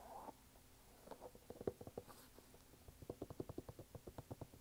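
A red canvas sneaker with a rubber sole is held in both hands while fingertips tap and scratch its canvas upper and rubber sidewall. A brief soft scratch opens the clip, followed by quiet, dull, muffled taps with a low-mid tone and a slightly scratchy edge. The taps come in two uneven runs, the second steadier and more rhythmic.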